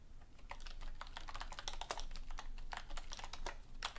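Both hands type on a black full-size plastic computer keyboard resting on a desk beside an untouched book, striking the keys with long painted nails and fingertips. A quick, steady run of short, bright clicky keystrokes sounds over a faint low rumble, each tap dying away almost at once.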